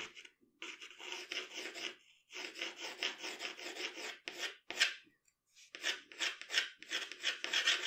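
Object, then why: Graphite pencil on drawing paper. A graphite pencil scratches and shades across a sheet of drawing paper, filling in the cheek and jaw of a portrait. Dry, bright, raspy strokes come in rapid back-and-forth runs, broken by short silent pauses where the pencil lifts off the paper.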